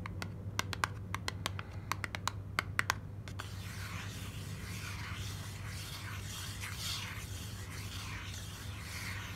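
Long black nails tap sharply on the front of a white printed paperboard sunscreen box held in hand, a quick series of crisp, dry clicks. After about three seconds they switch to continuous bright scratching across the carton, over a steady low hum.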